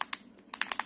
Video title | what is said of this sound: Technique Tuesday with Distress Oxide Inks & Gloss Spray | It's got a ball bearing in there, and we can hear that clattering around